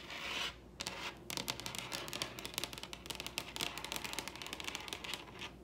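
Long red-painted acrylic nails on both hands tap and scratch the stained-grain top of a large solid wooden dining table. A bright, hissing scratch opens, then a brief lull gives way to a dense run of quick, crisp clicking taps mixed with scraping strokes. Nearly all the sound sits in the high register, with almost no low-end thud.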